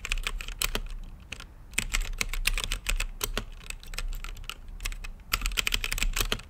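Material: Plastic.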